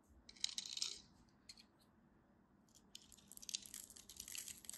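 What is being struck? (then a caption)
Bar of soap. A metal craft knife carves into a solid, cream-colored textured bar of soap, cutting off dry, crumbly shavings. The result is quiet, bright, crisp scraping and crunching in short bursts that stop without ringing, with a pause in the middle before a denser run of crackly cuts.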